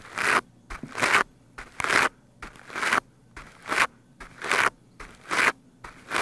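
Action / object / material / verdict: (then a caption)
scrape / foam microphone windscreen and plastic-bristle brush / foam / none. A stiff-bristled plastic scrub brush is brushed fast over the top of a black foam microphone windscreen. It makes loud, bright, scratchy bursts, each often led by a shorter swipe, repeating in a steady rhythm about once a second. The scraping is concentrated in the upper midrange with almost no low end, and there are near-silent gaps between strokes.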